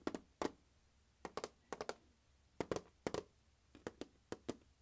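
A closed turquoise hard plastic glockenspiel carrying case with a molded handle, large and hollow with the instrument inside, lies on carpet and is tapped across the lid with the fingertips and nails of one hand. Fifteen quick, hollow taps come in small irregular clusters, each a short mid-pitched knock with a brief click on top that dies away almost at once.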